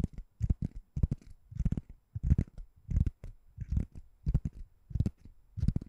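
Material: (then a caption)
Foam. A white ring-shaped foam door stopper, which looks like solid foam or rubber, is held above the microphone and tapped and scratched with long nails. The result is an irregular run of soft, deep, muffled thumps and rustly scratches in short bursts, each dying away almost instantly.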